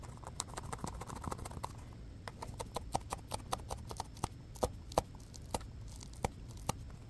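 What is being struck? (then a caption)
Small textured foam stress ball. A small, solid, orange textured foam basketball stress ball is scratched with fingertips and short nails and squeezed in the hand. The result is a quick series of short, dry, bright scratching clicks that stop almost instantly, over a steady low background rumble.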